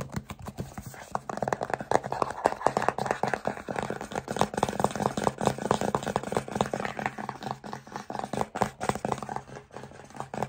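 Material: Plastic.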